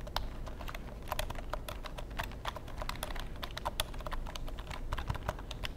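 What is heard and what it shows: Fingertips type rapidly on the keys of a long black plastic computer keyboard held horizontally, making a steady stream of short, bright clicks. Each tap dies away almost at once, over a constant low rumble.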